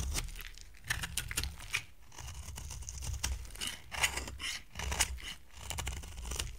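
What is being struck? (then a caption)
Soap bar scraped with a knife blade. A utility knife blade scrapes a solid brown-orange block of dry amber soap into dry curls, producing repeated crisp, bright scraping and crunching strokes. Each stroke swells and fades over a steady low rumble, with short gaps between passes.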